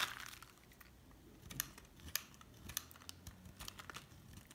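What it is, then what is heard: Hard bar soap being shaved. A metal utility knife blade shaves thin strips from a hard, solid cream bar soap held in the hand. It makes quiet, dry scraping and crinkling sounds, with a denser rasp at the start followed by sharp, bright scratchy cuts that stand out above a low background.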